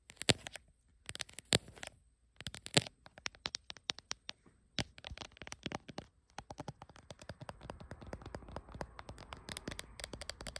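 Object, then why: Plastic phone case tapped with fingernails. Long acrylic nails tap and scratch the back of a small, hand-held smartphone in a glossy, printed dragon-pattern hard plastic case. Sharp, bright clicks with almost no ring come in short clustered bursts, then grow quicker and denser with a scratchy rustle underneath. A faint, steady high tone runs through the clip.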